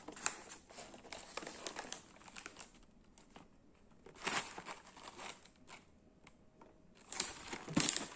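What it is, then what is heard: Cardboard biscuit box. A medium printed cardboard box of Gullón Cuor di Cereale sandwich biscuits, closed and hollow with packed contents, is tapped and scratched with fingertips and nails. The sound is quiet and bright, with dry crinkling scratches and light papery taps that die away quickly, and a few louder bursts of scratching near the middle and the end.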